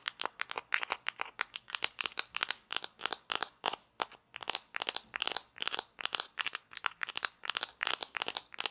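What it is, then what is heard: Plastic toy pizza slice. Long nails tap and scratch the top and rim of a small hollow plastic toy pizza slice, orange with painted toppings, held in both hands. About forty quick, bright, crisp clicks and scrapes come in a steady run, with almost no low end and no ring after each one.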